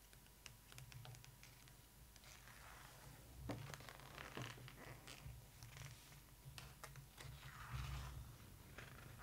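Long acrylic nails rapidly tap and scratch on the right-hand glossy page of an open hardcover photo book, making quick, crisp clicks and bright, dry scratches. The page is then turned with a soft papery rustle, all over a steady low hum.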